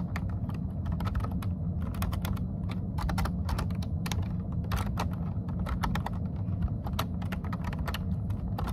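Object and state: Plastic computer keyboard.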